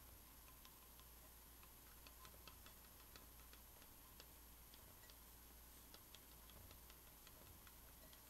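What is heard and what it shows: Long painted nails tap and scratch the lid and sides of a hand-sized, hollow, cylindrical dark metal tea canister with a gold metal lid, held in both hands and turned. The result is a quiet, irregular stream of light, bright ticks and clicks over a steady low hum and faint hiss.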